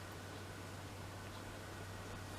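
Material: Nothing is struck.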